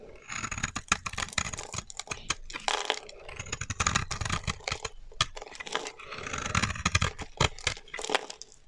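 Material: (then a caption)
Soap. A solid lilac-purple bar of dry soap, held in the hand, is carved with a blade into thin stacked curls and then scraped flat. Dense, crisp scraping and crackling shaving bursts come in quick runs, broken by sharp little clicks and short pauses, with a bright, dry texture and almost no ring.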